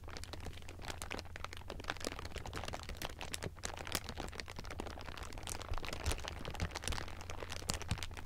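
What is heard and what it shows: Hands squeeze and crumple a bunched sheet of thin, clear plastic film, producing dense, continuous crinkling with many sharp, bright crackles. A steady low hum runs underneath throughout.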